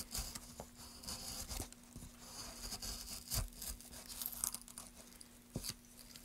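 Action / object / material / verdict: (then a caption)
scrape / light wooden plank / wood / none. A solid light wood plank is carved along its edge and face with a wooden-handled gouge in quick scraping strokes. Dry, bright scraping and shaving sounds come in short irregular bursts with small knocks, over a faint steady low hum.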